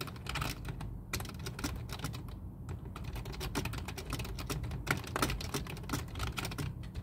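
Two hands type with their fingertips on a full-size black plastic computer keyboard resting on a desk, giving rapid, continuous key-press clicks. The short, dry clicks sit over a steady low hum.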